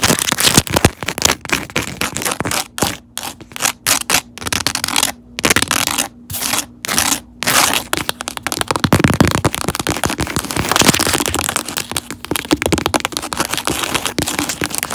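Long neon nails tap and scratch the cork back of a cork-covered phone case with a label, held in a mount. Quick bursts of dry, crackly scratching and clicking taps fill the clip, with brief silent gaps in the first half before it turns into near-continuous bright, rasping texture.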